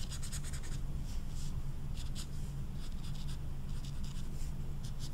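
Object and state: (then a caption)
Felt-tip marker scrubbed on velvet-flocked paper. An orange felt-tip marker is scrubbed in short strokes over the flocked surface of a small, flat, velvet-flocked paper poster card, which is held with the other hand. Soft, bright scratchy bursts repeat quickly and unevenly over a steady low hum, at a constant, quiet level throughout.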